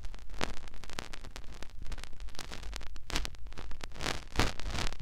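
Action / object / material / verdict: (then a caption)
scrape / silicone ear on a binaural microphone / silicone / none. Fingertips and short nails rub, press into and scratch the hollow canal and rim of a white soft silicone ear mounted on a white plastic binaural microphone body. The result is close, crackling rustles and scratches over a deep low rumble, with dense bursts of bright friction noise that come and go throughout.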